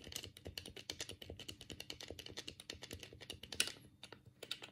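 A black, hollow plastic Sega Mega Drive controller is held in both hands while the thumbs rapidly click its D-pad and buttons. About 37 short, bright plastic clicks come in an uneven, fast patter, with one sharper, louder click near the end. Each click is dry and stops almost at once.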